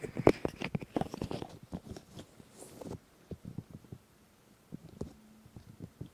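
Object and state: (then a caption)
Silicone microphone ears being rubbed. Bare fingertips and palms rub and touch the soft, hollow, molded white silicone ear shapes on a black 3Dio Free Space binaural microphone. A close, muffled burst of rubbing and quick soft taps fills the first three seconds, then sparser soft thumps and brushes follow with quiet gaps between them. The sound stays dull and low to mid in tone, with little brightness.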